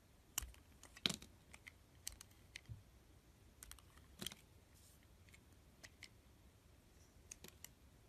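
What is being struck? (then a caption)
Bar of soap shaved by a blade. A blade shaves the remaining green coating off a solid cream bar of soap in strips, making around fifteen short, crisp, bright scraping clicks at an uneven pace. Each cut is dry and quick with almost no ring, separated by quiet pauses.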